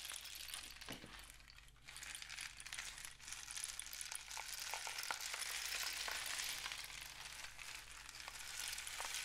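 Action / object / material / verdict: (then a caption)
shake / cardboard rain stick filled with loose grains / cardboard / none. A long, hollow, painted cardboard rain stick with a capped end, filled with loose grains, is held in both hands and tilted and rotated so the filling pours through the tube. It makes a continuous bright, rain-like patter, scattered with tiny clicks, that swells after a brief dip and stays steady. A faint low hum sits underneath.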